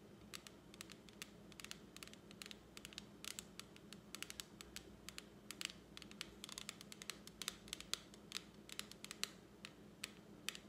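Long acrylic nails tap and scratch a small plastic lipstick palette that is held up with its clear plastic lid open. The result is a quick, irregular run of sharp, bright plastic clicks with almost no ring, over a faint steady low hum.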